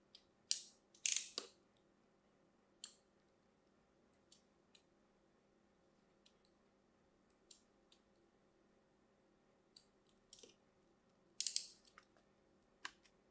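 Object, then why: Bar of soap scored with a thin metal blade. A thin metal blade scores diagonally across a solid, hand-sized green Aquatel bar of soap held in one hand, with a scratching, cutting motion. Brief, bright, crisp scraping strokes come in irregular bursts, some paired closely, others spaced seconds apart, each fading almost at once. The clip is quiet overall, with a faint steady low hum underneath.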